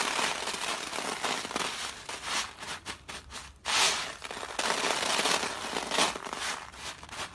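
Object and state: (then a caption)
Dry soap flakes crumbled by hand. Fingertips dig into a large heap of dry crushed soap flakes on paper, scooping and rubbing them so they crumble further. The sound is a dense, bright, dry crackling crunch that goes on almost without pause. It briefly drops out just before the midpoint, then comes back with a louder crunch.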